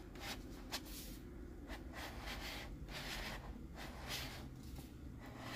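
A hollow white plastic Groot cup with a screw-on lid is held in both hands while fingers twist and rub the plastic lid against the threaded rim. Quiet, dry scratchy scraping comes in repeated bright bursts over a steady low rumble, with one sharper click near the start.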